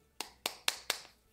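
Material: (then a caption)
Pastry dough. Uncooked mini fried-pastry dough pockets, straight from the freezer, are tapped together, giving four sharp, bright clicks with a hard, stone-like quality. The clicks are clearly separate, and each one stops almost at once. They show that the pastries are frozen completely solid.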